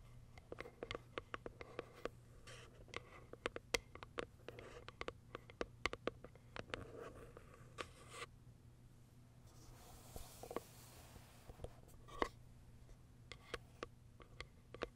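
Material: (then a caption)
Cardboard. Long acrylic nails tap and scratch the top of a small pale pink Kiara Sky cardboard box. Quiet, dry clicks come in an irregular stream, each dying away almost at once over a faint low hum. A brighter, hissing scratch swells briefly near the middle before the taps resume.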